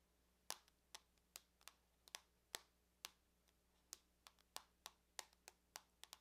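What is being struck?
Aluminum laptop lid.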